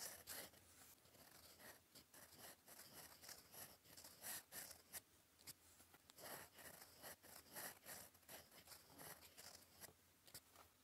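A gold metal fountain pen nib, held in fingers, scratches across a flat sheet of cream lined paper on a desk while writing cursive. The result is quiet, bright, irregular scratching strokes with short pauses between them and very little low end.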